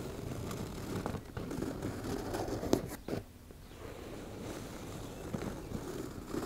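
Long nails slowly scratch a soft, hollow teal embossed-fabric makeup bag, making a steady, low, rustling scrape with a few sharper ticks. The scratching briefly drops to near quiet around the middle before resuming.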